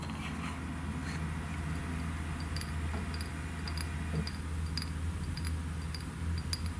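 Long nails tap and click on a small, thick, clear glass serum bottle with a white plastic cap, partly filled with liquid containing gold flakes. Quiet, bright, short clicks sound over a steady low hum.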